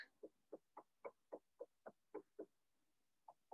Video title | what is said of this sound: RBCM@Home (Kids): Museum Field Trip! | do you hear that little echo that means that it's not real